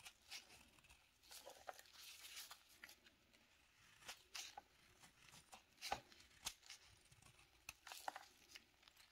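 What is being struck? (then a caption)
Soap bar shaved by a metal knife. A metal knife blade shaves and scrapes a small, solid bar of dry, light beige sandalwood soap held in black nitrile-gloved hands. The result is quiet, bright, crisp scraping and tearing strokes in short repeated bursts. Thin flakes and curls fall onto a pile of shavings.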